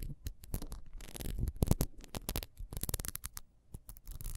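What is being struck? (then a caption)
Ribbed wax pillar candle. A solid yellow wax pillar candle with horizontal ribs and a metal disc on its base is held in the hands and scratched rapidly with long almond-shaped nails. The result is a dense run of short, dry scratching bursts that reach bright and high, over soft low thumps from the handling.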